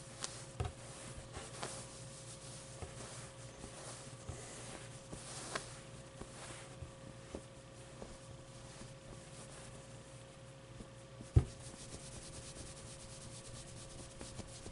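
Long, dark-painted nails and fingertips rub and scratch the white and green fabric and fuzzy brown pit of a medium, soft stuffed avocado plushie. The result is a quiet, steady bed of soft, brushy scratching over a faint low hum, with small ticks throughout and one sharp, brief tap near the eleven-second mark.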